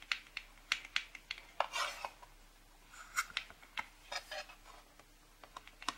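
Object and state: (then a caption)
Cardboard box tapped with fingernails. Long pink-painted nails tap and lightly scratch across the front cover and edges of a closed, printed cardboard packaging box for a charcoal drawing set, lying flat. The result is an uneven run of crisp, dry clicks with brief scratchy rasps in between, bright with almost no low end and no ring.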